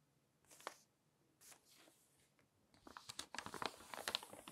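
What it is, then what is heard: Glossy paper magazine. Fingertips crinkle, rub and turn the pages of an open glossy paper magazine. Two soft, airy page sweeps give way to a denser run of crisp, bright crinkles and sharp paper snaps with very little low end.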